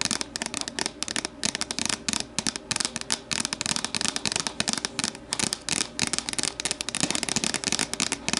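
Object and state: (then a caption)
Plastic deli container. Long nails tap and scratch the sides of an empty, hollow, translucent plastic deli container standing upright. Rapid, dry, bright clicks and crackly scraping come in quick clusters with brief pauses, each tap dying away almost at once.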